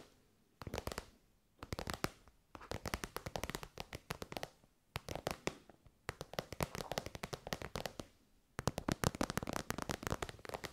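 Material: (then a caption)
Faux leather. Long white nails tap rapidly on an elongated, shiny pink metallic faux-leather pouch that is soft and hollow. The quick, crisp clicks come in bursts of about a second, separated by short quiet pauses. Each tap stops dead, with a dry, papery texture and a faint low thump underneath.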